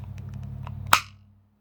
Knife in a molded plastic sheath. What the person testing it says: there's no movement whatsoever no rattle